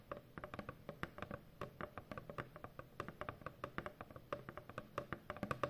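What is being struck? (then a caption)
Corrugated cardboard box. Long painted fingernails tap quickly on a large, hollow corrugated cardboard shipping box. The result is a rapid, uneven run of short, dry, hollow knocks with a low body and a mid-range resonance near 574 Hz. Each tap dies away almost at once.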